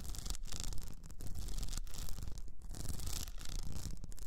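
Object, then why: Cylinder wrapped in rhinestone mesh. Long nails of both hands scratch an upright cylinder wrapped in blue rhinestone mesh. The result is a steady, dense scratching and rubbing sound with a low rumbling base and quick bright clicks scattered throughout.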